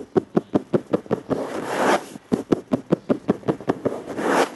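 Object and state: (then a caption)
Flat plastic surface. Fingertips with short nails on both hands tap a dark, flat plastic surface in quick, hollow knocks, 16 in all. The taps come in two runs, each followed by a soft, hissy stretch of rubbing or scratching across the plastic.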